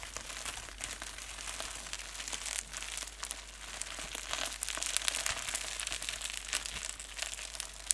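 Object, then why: Polyethylene bubble wrap sheet. A clear, thin, flexible polyethylene bubble wrap sheet with air-filled bubbles is crumpled and squeezed between both hands with the fingertips and painted nails. It gives a dense, continuous bright crinkling, with sharper crackles and snaps scattered throughout.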